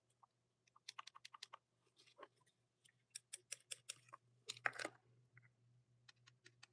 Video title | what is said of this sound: Looking at my new creepro monster high dolls and comparing | This is hard plastic. You can even hear that when I tap it.